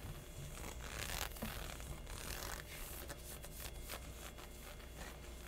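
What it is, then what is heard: Textured synthetic legging fabric. Fingertips and short nails scratch and rub across thin, stretched black synthetic leggings with a honeycomb texture, worn over the thigh and hip. The result is a continuous, bright, zipper-like rasping with quick irregular strokes over a steady low hum.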